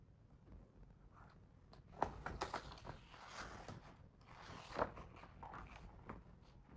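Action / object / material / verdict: scrape / hardcover picture book, paper pages / paper / none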